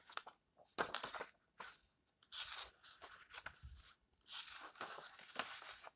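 Hands rub and flip the dry pages of an old yellowed paperback book. Bursts of crunchy, bright paper rustling come and go with short quiet gaps between them.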